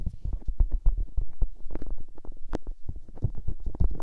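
Fingertips with long nails hold and rub both white silicone microphone ears, producing a rapid stream of soft, muffled thumps and rubbing bursts. The sound is deep and low, with occasional brighter scratchy flicks from the nails, and each contact dies away almost instantly.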